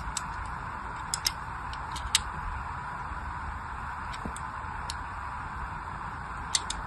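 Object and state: Soap bar being scored with a knife.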